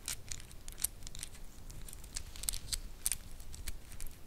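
A black wooden segmented bracelet with white star inlays is bent while fingernails scratch and tap it, making its segments click. Quick, dry, bright clicks and ticks come in an irregular run over a low, quiet rumble, each dying away at once.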